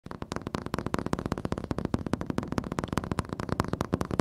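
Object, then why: Flat-screen TV glass screen. Fingertips and nails tap and scratch the glossy black glass panel of a large, solid, wall-mounted flat-screen TV, with the recorder held close. A rapid run of 26 short, dull, low-heavy taps sounds over a faint scratchy bed. Each tap stops dead with no ring.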